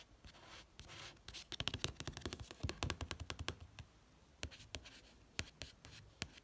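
Soft papery rubbing broken by a flurry of crisp, dry ticks from fingertips on a paperback's card cover.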